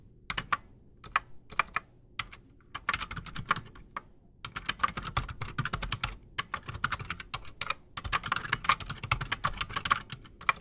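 A full-size black Redragon mechanical keyboard with PBT plastic keycaps and silent switches sits solid on a desk while both hands type fast with fingertips. Dense bursts of short, muted clicks and clacks, bright and crisp with a little low thud, come in quick runs with brief pauses between them.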